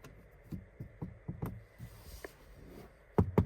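Knuckle knocks on the front door trim of a 2023 Toyota Corolla Cross 2.0 Hybrid FWD Premiere Edition produce about eight short, dull, low-pitched taps with almost no ring; the last two are the loudest. The trim is hard plastic everywhere except a slightly yielding upper section.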